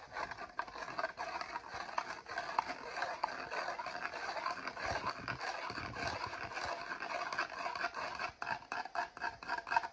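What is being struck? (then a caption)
Foil-lidded instant noodle cup. Fingertips and nails rub and scratch the foil lid and rim of a Maggi instant noodle cup. A continuous, dry, crinkly scraping sits mostly in the midrange with little low end, broken by brief dips and quick scratchy accents.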